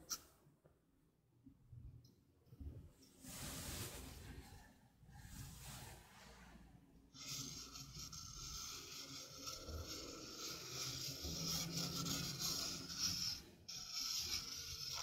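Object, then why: Stainless steel mesh sink strainer. Long nails rub the rim and mesh of a small, hollow stainless steel mesh sink strainer held close to the mic. Short bursts of bright, hissing scratches with quiet gaps give way to continuous high, grainy rubbing with a faint metallic shimmer.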